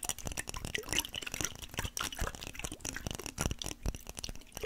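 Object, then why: Small glass jar with metal lid holding liquid. Fingernails tap and scratch a small clear glass mason jar with a metal lid, held close to the mic with some liquid inside. A quick run of short, bright clicks and scrapes rises over soft sloshing from the liquid, each tap dying away almost at once.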